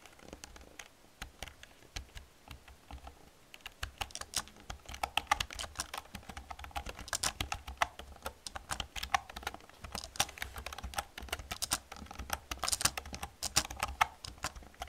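Fingertips with long dark-red nails press the keys of an old full-size black plastic computer keyboard with a hollow casing, typing and tapping. Sparse, lighter clicks give way after about four seconds to a denser run of sharp, bright, dry keystrokes with almost no ring, over a faint steady low hum.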